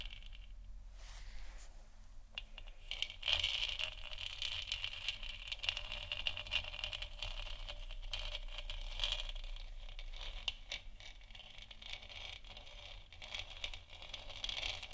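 Long nails on both hands scratch the textured surface of a hollow, lit, 3D-printed plastic moon lamp sphere about the size of a head. The result is a quiet, continuous, irregular scratchy rattle, bright and hissy in tone, over a faint low hum.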